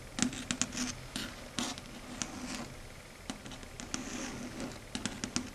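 Long red stiletto nails tap and scratch across a flat matte dark grey chalkboard. Sharp, bright clicks stand out over a soft, continuous scratchy hiss, with irregular taps scattered throughout the clip.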